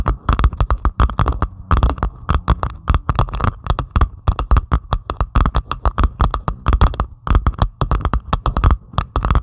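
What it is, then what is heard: Diamond painting canvas with plastic resin drills. Long pointed acrylic nails on both hands scratch and tap a flat, solid diamond painting canvas with a Stitch design that lies on a table, covered in small faceted plastic resin drills. The result is a fast, steady run of short, dry clicking taps with a low thudding body and quick scratchy brushes between them, each hit dying away almost instantly.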